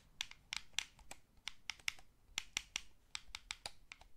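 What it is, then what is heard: Plastic game controller buttons. Fingertips rapidly tap and press the face buttons and d-pad of a small, hollow, blue wired plastic gamepad. About 16 sharp, dry, bright clicks come in quick irregular bursts, each stopping instantly with no ring, over a faint low background.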